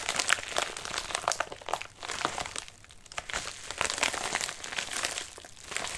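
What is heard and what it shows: A medium white padded mailer with a wrinkled surface rests on a lap while fingertips rub and scratch its crinkly surface. The result is a dense, bright crinkling and crackling that rises and falls, easing briefly around the second and third seconds before picking back up.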